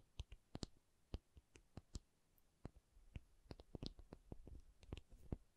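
A rubber object is tapped in about twenty short, dry, irregularly spaced clicks. Each tap dies away almost at once and sits mostly in the low range, with a few sharper ticks. The whole clip is very quiet.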